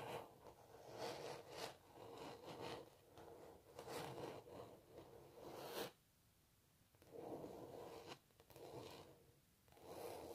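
Long natural nails scratch and rub across the textured paint surface of a large stretched canvas print of a cellist. The result is a steady, dry scratching hiss centered in the midrange, with brighter streaks on the harder strokes. A brief quiet pause comes about two-thirds of the way through before the rubbing resumes.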